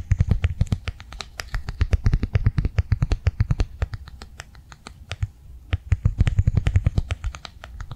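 A blue plastic cardholder, held upright in the hand, is tapped fast with long nails. Dozens of quick, dry, clicky taps run in a dense stream, with a short lull around the middle before speeding up again.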